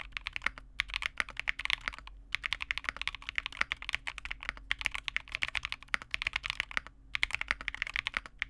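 Both hands type continuously on a Vega65 custom mechanical keyboard with re-lubed Cobalt switches, a dark case and white/cream plastic keycaps, resting on a desk mat. Fingertips tap and press the keys in a rapid, steady stream of short, crisp clacks, bright and centered around 2 kHz with almost no low end. The clicks die away instantly, broken only by a few brief pauses.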